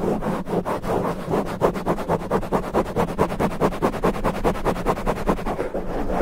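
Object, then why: Foam microphone windscreen. Fingertips of both hands scratch fast and hard at a black foam windscreen on a condenser microphone. About 27 quick, rough scratching strokes come in a steady, slightly uneven rhythm. They sound muffled and scratchy over a constant low rumble.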